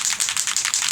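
A spray bottle of Sweet Cherry color mist is shaken, and the small mixing ball inside rattles in a quick run of bright, high-pitched clicks with almost no low end. The ball mixes the color and keeps the bottle from clogging, and the rattle is the normal sound of it working.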